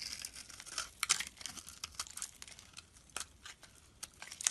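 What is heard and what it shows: A hand-sized blue and white striped solid soap bar, held in the palm, is shaved and scraped by a metal blade into curls and flakes. Quick, bright, crisp scraping and crackling strokes follow one another, with a sharper burst near the start and again later on.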